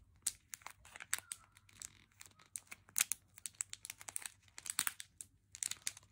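A full plastic M&M's candy pouch is handled with fingertips and nails, crinkling, rubbing and tapping its plastic film. A steady run of short, crisp crackles and taps, mostly bright and high with almost no low end, each dying away almost instantly, comes at a quiet level.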